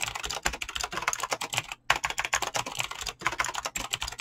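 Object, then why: Mechanical keyboard with PBT plastic keycaps. Fingertips fast-type on a mechanical keyboard with clicky green switches and PBT plastic keycaps. The result is a rapid stream of sharp, bright clicks with brief pauses near 1.8 and 3.2 seconds. Each click is short and dry, and there is almost no low end.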